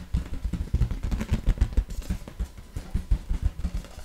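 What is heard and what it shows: An inflated light blue latex balloon, hollow and air-filled and held in both hands, is tapped and scratched with long nails. This gives a quick, uneven run of dull, deep thumps with faint scratchy rasps between them. Each tap dies away almost at once.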